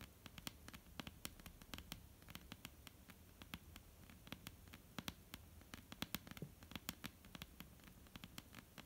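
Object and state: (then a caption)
Wooden tabletop tapped with fingernails. Long, almond-shaped painted nails tap rapidly and irregularly on a flat, solid dark-brown wooden tabletop. Each tap is a short, dry click with a bright edge and a soft low knock, dying away almost instantly over a faint steady low background hiss.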